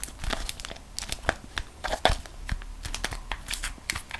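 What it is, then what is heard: Beeswax-coated cotton food wrap. A folded beeswax-coated cotton food wrap is held in both hands, bent and squeezed while long nails scratch its surface. It gives a dense run of dry crinkles and sharp crackles, with bright snaps over a soft, papery rustle.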